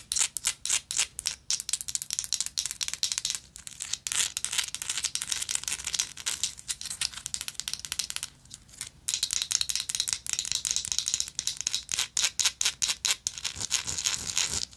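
Long nails quickly tap and scratch a small, hollow, vintage gold-tone metal lighter with a textured surface. The result is a dense run of crisp, bright clicks and rasping scrapes with almost no low end, broken by a short pause near the middle.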